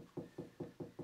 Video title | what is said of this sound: How to hang a TV on a solid wall - fix Tv to wall | if you keep tapping it moving eventually you'll find a bit that sounds solid